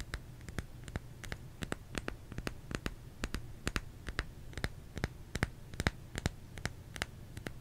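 Fingers tap on a solid bar of soap in a quick, uneven run of short, dry clicks, each with a crisp bright edge and almost no ring. A low, steady hum sits underneath the taps throughout.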